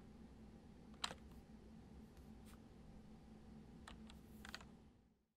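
Fingertips type slowly on a white plastic computer keyboard, producing a few sparse, bright key clicks over a steady low hum. The sound fades out at the end.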